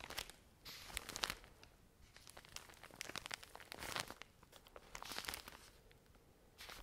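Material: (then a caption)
Plastic film. Long nails scratch and squeeze the crinkly plastic film of a full pack of cotton pads, producing bursts of bright crackling and crinkling with quiet pauses between them. The sound is mostly high-pitched with little low end, in short irregular clusters of sharp crinkles across the whole clip.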